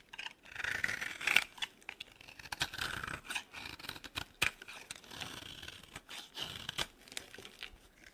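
The remaining piece of a dry green soap bar is carved with a metal blade and handled in the fingers. Quiet, dry scraping and crisp crackling cuts repeat in quick, uneven strokes, bright and thin, with sharp snaps and little low end.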